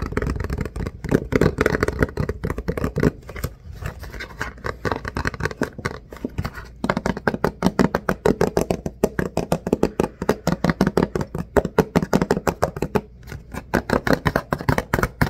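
A hollow, medium-size Green Puffs cardboard tissue box is held and turned in the hands while fingertips tap and scratch across it. The result is a long run of quick, dry, hollow taps mixed with soft scratching, mostly low and midrange with little high-end brightness.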